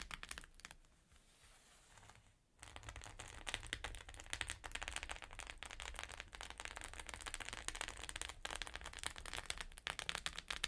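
Long nails tap and lightly scratch the plastic sequins of a flat rainbow sequin pouch. After a quiet first two seconds, a dense run of quick, bright clicks and crinkly scratches continues steadily to the end.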